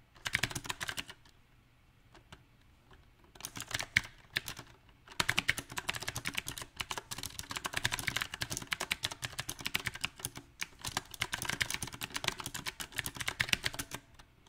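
Fingertips type on a backlit compact mechanical keyboard with round typewriter-style plastic keycaps set on a silver metal frame. Bright, crisp key clacks come in short uneven bursts separated by quiet pauses, then run as a steady stream of rapid, irregular typing. Each keystroke is sharp and dies away almost instantly.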